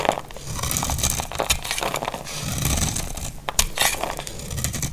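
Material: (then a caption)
Soap. A utility knife blade shaves a solid, dry, hand-sized bar of amber translucent glycerin-like soap into crumbly flakes. The result is a steady run of crisp scraping and crackling cuts with bright, high clicks over a low rumble.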